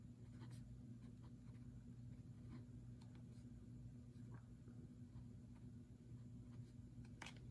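A fountain pen writes on the handwritten page of an open notebook resting on a wooden table, while the other hand lies flat on the page and an untouched printed book sits beside it. Faint, bright scratches of the nib come and go over a steady low hum that fills the quiet clip.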